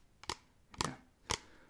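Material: Plastic.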